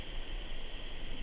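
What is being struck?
Nothing is struck.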